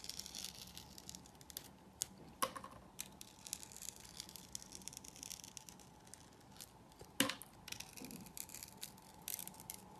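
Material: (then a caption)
Soap. A hand-held solid rectangular purple soap bar with a textured coated surface has its crust cut and scraped away with a utility knife blade. Soft, bright scraping and crumbling fill the clip, broken by a few sharper clicks of the blade.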